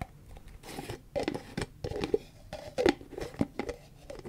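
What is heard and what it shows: Long fingernails tap and scratch the body and green plastic screw lid of a large white plastic Cetaphil cream tub. The result is a quick, irregular series of dull, hollow plastic clicks mixed with dry scraping rustles, pitched in the midrange with little bass or treble, and each tap stops dead with no ring.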